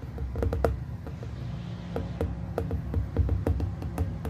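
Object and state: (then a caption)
Glass plasma ball. Fingertips of both hands tap steadily across the glass surface of a small hollow glass plasma ball globe. The taps are short, dry clicks with a faint hollow tone near 460 Hz, dying away almost instantly over a constant low, heavy rumble.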